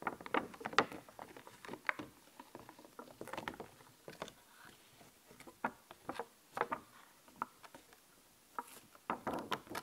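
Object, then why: Thin clear plastic sticker sheet. Long fingernails tap rapidly on a thin, clear plastic skeleton-cat sticker sheet held in the other hand. The taps are light, crisp plastic clicks with almost no low end, coming in quick irregular bursts separated by short quiet gaps. Each click dies away almost instantly.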